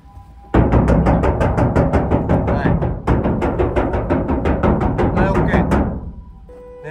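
The bare, undamped steel roof panel of an Every kei van is knocked from above in many places before any sound-deadening material is applied. A rapid, steady run of hollow knocks starts after a quiet moment, with a brief dip near the middle, and each knock booms low and rings on. The roof resonates loudly and sounds distorted, setting a baseline before the panel is treated.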